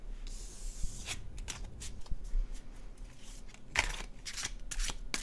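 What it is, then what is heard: Paper card deck being shuffled. An illustrated cardstock tarot deck is overhand shuffled in both hands, producing soft, bright papery riffling and brushing bursts as the cards slide and flick against each other. A faint low rumble sits underneath the quick, dry card sounds.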